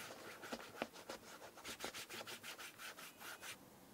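Bare fingertips rub cream into the brown leather upper and toe of an Aurora Shoe & Co 'Middle English' leather shoe. Quick, slightly uneven back-and-forth strokes make a soft, bright swishing hiss with little low end, and each stroke fades almost at once.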